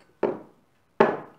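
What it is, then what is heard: Heavy solid glass bottle stopper. The heavy, glass-topped cork stopper from a Glengoyne 25 Year Old whisky bottle is knocked twice on a surface to show its weight. Each knock is a solid, mid-pitched clunk that fades quickly. The stopper sounds heavy, though lighter than a Glenmorangie stopper.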